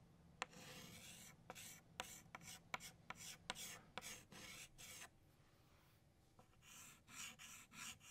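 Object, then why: Chalk stick on a slate chalkboard. A hand traces petals on a flat black chalkboard with an orange chalk stick, making bright, dry scraping strokes. About eleven sharp taps mark where the chalk meets the board. After a quieter pause near the end, a few more quick scratchy strokes follow.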